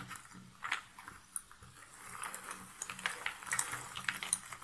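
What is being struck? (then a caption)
Cardboard jigsaw pieces in a box lid. Cardboard jigsaw puzzle pieces sit in a box lid while one hand with long nails scratches and stirs through the pile. The result is a soft, dry rustle full of quick, bright clicks and ticks as the pieces shift against each other, with no deep tones or lingering ring.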